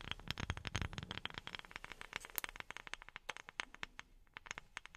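A wooden object is tapped rapidly with silicone rubber pads worn on the fingertips. It makes a dense run of about 34 short, dry taps with crisp, crackly high end and almost no ring.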